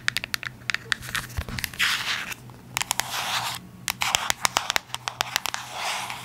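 Long acrylic nails tap and scratch a small, hollow, yellow cube-shaped Byoma cardboard box held in the hands. Quick, sharp, bright clicks are interspersed with hissy, papery scraping bursts, each tap dying away almost instantly with no ring.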